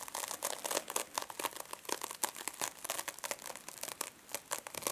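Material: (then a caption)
Metal mesh. Long fingernails on both hands scratch and pinch the surface of a small silver metallic mesh-covered foam scrub sponge resting on a table. The result is a dense run of dry, bright crinkling and crunching scrapes in quick, uneven bursts, with no low end and almost no ring after each stroke.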